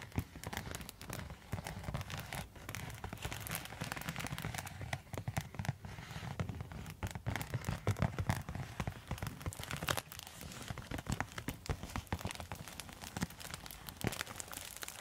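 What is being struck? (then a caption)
Quilted foil insulated zip pouch. A silver quilted foil insulated zip pouch is tapped and scratched with long metal nail tips. Dense crinkling scratches and quick, dry taps run steadily through the whole clip with no ring after each contact.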